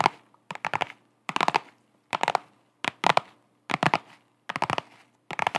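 A flat holographic faux-leather/vinyl zip pouch, held in both hands, is tapped and scratched with long acrylic nails. Quick, crisp, bright clicks come in short clustered bursts with brief silences between, each tap dying away almost instantly.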